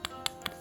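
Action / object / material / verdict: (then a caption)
tap / fired clay Buddha amulet / fired clay / hard. An old Dvaravati-era clay Buddha amulet, item 7, already chipped with age, is tapped three times to show how hard and dense its material is. Each tap is a short, dry, bright click with almost no ring, sounding like brick. Because it is old and chipped, tapping it against a tile would break it.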